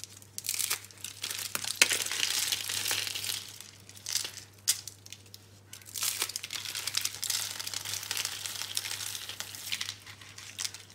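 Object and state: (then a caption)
Dry, brittle soap curls. Fingers crush and rub thin, brittle pink-brown dry soap rose curls on a green surface, breaking them into flakes. Dense, bright crinkling and crackling comes in bursts with brief pauses and a few sharper snaps, while a steady low hum runs underneath.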